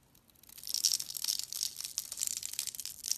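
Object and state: Bar soap being carved.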